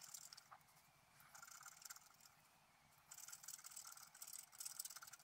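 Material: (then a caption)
Coated paper. A pointed wooden stylus scratches the coating off a flat, black, wax-coated scratch-art paper sheet about A4 in size, lying on a white table while the other hand holds it flat. Thin, bright, rasping scratches come in bursts with short quiet gaps, mostly high and hissy with almost no low end.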